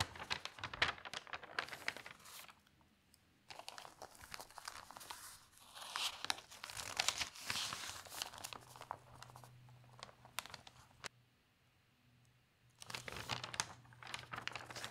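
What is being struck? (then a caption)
Thin newsprint newspaper. Both hands lift and flip a large page of thin newsprint newspaper, making loud, bright crinkling and rustling in bursts, with a near-silent pause before a final burst of page handling. A faint low steady hum runs under the second half.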